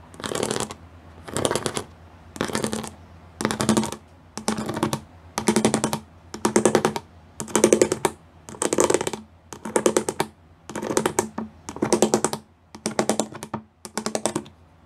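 Long glittery nails tap and drum rapidly on a gray plastic sheet with pyramid studs, in 14 short bursts of fast, crisp clicking. The taps are bright and dry, with a faint hum underneath.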